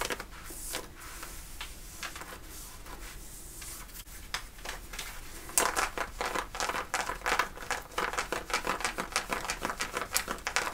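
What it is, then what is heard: Denim fabric scratched with nails. Long nails scratch the woven cotton fabric on the front thigh of worn light-blue denim jeans. Soft, sparse rasping in the first half gives way after about five seconds to a dense run of sharp, bright scratching strokes with quick, dry decay.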